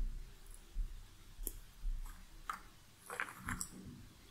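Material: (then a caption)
Cardboard. Fingertips and nails stir and scratch through a pile of loose cardboard jigsaw puzzle pieces in a shallow cardboard box lid. Soft, dry clicks and brief bright scrapes sound as the pieces shift against one another, over a quiet low rumble.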